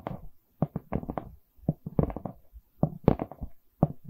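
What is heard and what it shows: A wooden canvas board is tapped and knocked with quick, irregular clusters of soft hits. Each knock is dull and low, with no bright edge and almost no ring, and short silences fall between the bursts.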